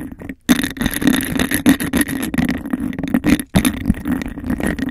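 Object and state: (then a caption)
Textured glass cup, scratched and tapped. Fingernails tap and scratch fast and hard on a clear textured glass cup held over a microphone. The result is a dense, hollow rattle of quick clicks and scrapes with a low ringing tone around 260 Hz. The sound cuts out briefly twice before resuming.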